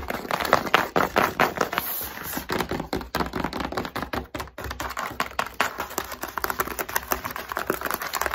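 Long acrylic nails tap and scratch quickly across the top and sides of a long, narrow, empty-looking corrugated cardboard shipping box resting on a table. The result is a fast, irregular stream of dry, hollow clicks and papery scrapes, mostly in the midrange, each dying away almost instantly.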